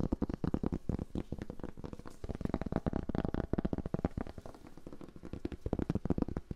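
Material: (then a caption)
Cork. Fingers tap and scratch a cork board for ASMR, making a steady stream of quick, soft taps. The taps are dull and low, with almost no ring or brightness, over a faint scratchy rustle between them.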